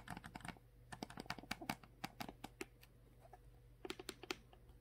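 Long manicured nails tap and scratch the blue plastic cap and upper body of a full, roughly 1-liter Core water bottle made of clear PET plastic. Quick, sharp, bright clicks come in irregular bursts, with a quiet gap in the middle before a final cluster. A faint, steady low hum sits underneath.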